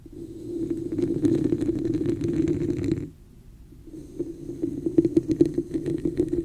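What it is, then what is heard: Plastic cup tapped and scratched. Long nails tap and scratch the sides of a hollow red plastic cup with an embossed pattern, held over the mic. A dense, hollow scratching with a resonant low-mid tone runs for about three seconds, pauses briefly, then returns as a quicker series of sharp taps over bright, crackly texture.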